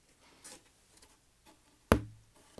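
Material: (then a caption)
Cardboard. A piece of corrugated cardboard, held up as a standard of badness for comparison with redwood, is tapped once. The tap is a dull, low thud that dies away almost at once with no ring, a dead tone amid faint background noise.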